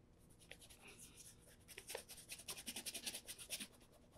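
A black Florsheim Imperial leather brogue with a shoe tree inside is held in the hands while fingertips rub cream over its leather upper. Quiet, bright, dry rubbing and scratching strokes start faint and irregular, then become a quicker run of distinct swishes in the second half.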